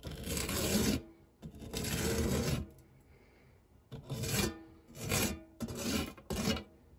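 The edge of a silicone spatula scrapes across the dark, textured nonstick base of a shallow, round fluted metal tart tin, pushing crumbs around the otherwise empty tin. Six rough, rasping strokes are heard, the first two long and the last four shorter, each a broad gritty rub with bright high hiss and a low body. Brief quiet gaps separate the strokes.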